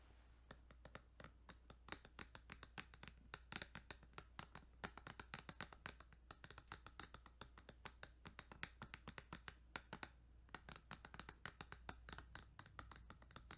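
Rapid, continuous tapping on a plastic Kirby's Dream Land 2 Game Boy cartridge. Each tap is a light, dry click with a bright top and almost no ring, in uneven bursts over a steady low hum.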